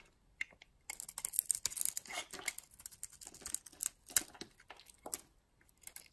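A metal utility blade carves and scrapes a solid oval red soap bar with a purple core, held in the palm, into flakes. The quiet, crisp, bright scraping comes in short, dry, crackly bursts with almost no low end, like soft crinkling, each cut stopping instantly.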